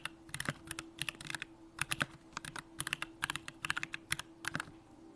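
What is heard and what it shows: Fingertips type continuously on a Bakeneko65, a 65% mechanical keyboard with a hollow aluminum case, Durock lavender switches and pink plastic keycaps. The result is a steady run of short, crisp clacks with bright clicky tops and a soft low thock beneath, clustered in quick bursts with brief pauses. A faint constant low hum sits under the typing.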